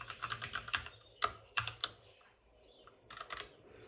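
Both hands rapidly tap with their fingertips on the plastic keycaps of a white plastic backlit RGB mechanical computer keyboard resting on a desk with a padded wrist rest. About fourteen short, bright, clicky keystrokes come in quick bursts, with a quieter pause in the middle before a final flurry.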